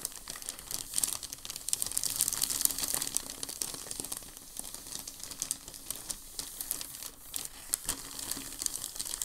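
Both hands sweep and rub over a large, thin, creased sheet of crumpled packing paper lying on a dark table. A steady, bright crinkling runs throughout, with many quick crackles rising above it. The sound sits mostly in the high range, with very little low end.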